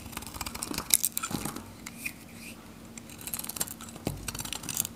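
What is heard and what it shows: A steel knife blade shaves and scrapes a palm-sized, varnished, dried bar of Godrej No.1 soap, red on the outside with purple lines and pink inside, held in the hand, cutting it into flakes. Dry, crisp scratching and rapid bright clicks come in uneven bursts, with a faint steady low hum underneath. The soap comes away as flakes.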